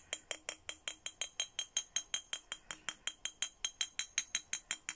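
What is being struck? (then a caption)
Glass bottle tapped with a plastic stick. A clear, empty, hollow glass milk-style bottle, about 20 cm tall with a printed Hello Kitty design, is held in one hand and tapped 27 times with a thin red plastic stick. Each tap gives a short, bright, high clink that dies away almost at once, repeating at a quick, slightly uneven pace.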